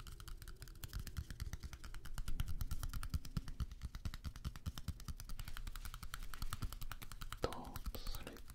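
A small deck of coated-paper playing cards is held in both hands close to the microphones while fingertips riffle and flick the card edges. Rapid, dry, short ticks run in a steady patter with a soft, low-heavy body. A brief brighter swish comes near the end.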